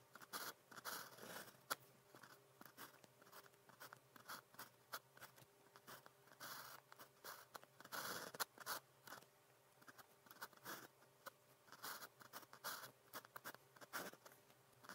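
A pen tip scratches across a single flat sheet of grid practice paper while writing characters. Many short, dry scratching strokes come in quick irregular bursts with brief pauses between, bright and papery with almost no low end and no ring. The sound is quiet and close.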